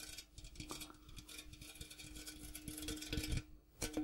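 Fingertips tap the striped outside wall and the rim of a large, empty, hollow printed metal popcorn tin with a gold interior, held up close and turned. The result is a quiet, irregular patter of soft, quick taps with a faint steady metallic ring underneath and a bright, rustling texture. There is a brief lull near the end before the tapping picks up again.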